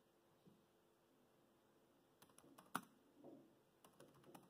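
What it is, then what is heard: Plastic laptop keyboard typing. Fingertips type on the black plastic chiclet keys of a dark grey laptop keyboard, giving quiet, short, dry clicks that cluster after a near-silent first two seconds. One tap lands noticeably sharper and louder than the rest, and there is no ring after each key press.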